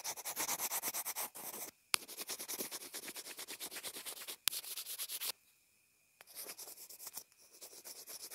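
A pencil tip scribbles and scratches across a small white plastic inline earphone remote and mic. Rapid, bright, dry scratching strokes come in bursts, with a faint steady tone near 2.4 kHz. Brief pauses and a couple of sharp clicks break up the strokes.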